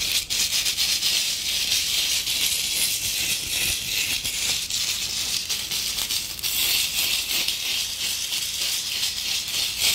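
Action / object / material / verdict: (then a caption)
scrape / glitter-covered decorative apple ornament / glitter / none. Long acrylic nails slowly scratch and tap over the rough, glittery surface of a red glitter-covered decorative apple ornament with a stem. The result is a steady, bright, crackling rasp that sits almost entirely in the high range, with faint taps mixed into the continuous scratching.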